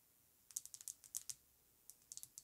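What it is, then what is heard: Glass perfume bottle tapped with fingernails. Long acrylic nails tap across the front and sides of an Amouage Guidance perfume bottle, a hand-sized, apparently full, rectangular pink-coated glass bottle with a gold metal emblem and a cream cap, lying on faux fur. The taps are quick, sharp, bright clicks with almost no ring or low end, coming in an irregular run, then a brief pause, then another cluster.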